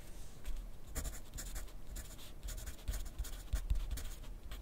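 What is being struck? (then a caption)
Graphite pencil on a paper notepad. A graphite pencil tip scratches across a thin lined paper pad lying flat on a desk in continuous writing. Soft, bright, scratchy strokes come in quick bursts over a faint low rumble, each stroke stopping dry without ringing.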